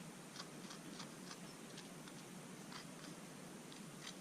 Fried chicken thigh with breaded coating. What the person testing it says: Tap it. Yep, yep. Yeah! That's some crispy chicken.